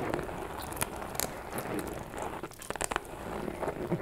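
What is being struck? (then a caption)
Faux leather shoulder bag. Long nails scratch across the front of a small, hollow pink metallic faux leather shoulder bag with a chain strap while it is held up. The result is a quiet, steady crackly, crinkling scrape, broken by a few sharper clicks.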